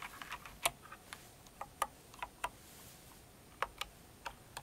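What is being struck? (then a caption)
Plastic mechanical keyboard keycaps. Long acrylic nails on both hands slowly type and tap on a full-size light blue and pink Cinnamoroll mechanical keyboard with plastic keycaps. Sharp, bright plastic clicks and clacks come at an irregular, unhurried pace, each dying away almost instantly over a faint, steady hiss.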